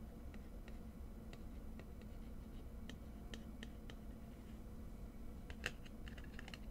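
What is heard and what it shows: Long manicured nails tap and scratch a small, hollow, hand-sized white-and-black printed cardboard Givenchy Gentleman fragrance box held in the fingers. The result is quiet, scattered short dry clicks and light scratches with a bright edge and almost no ring, over a steady low hum.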